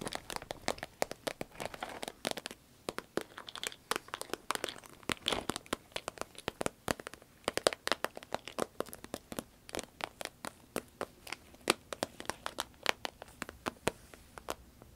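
A small, hollow, cylindrical sparkly green vinyl zip pencil case is held up, then squeezed and scratched with long red nails. The result is a steady stream of dozens of sharp, dry crinkling and crackling ticks, bright and crisp with almost no low end. Each tick dies away at once over a faint rustling bed.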